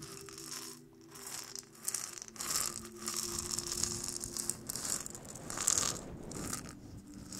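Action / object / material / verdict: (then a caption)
shake / dried gourd maraca with seeds / dried gourd / none. A small round hollow maraca made of dried gourd, painted and carved and fitted with a dark wooden handle, is held close to the microphone and shaken so the seeds inside rattle. The clip is filled with bright, dense rattling in soft swells, with faint steady tones lower down.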